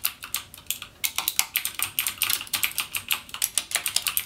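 Fingertips type rapidly on a backlit mechanical gaming keyboard with plastic keycaps and Cherry MX Blue switches. Each press gives a sharp, bright, clicky tick that dies away almost instantly, in a quick, steady stream of separate keystrokes with almost no low end.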